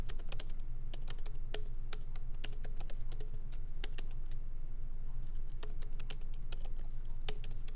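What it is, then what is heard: Laptop keyboard typing. Both hands type lightly with their fingertips on a MacBook Pro's plastic keycaps, set in its aluminum body, as it rests on a wooden desk. Quick, uneven runs of short, bright clicking taps stop dead after each press. A steady low hum sits underneath throughout.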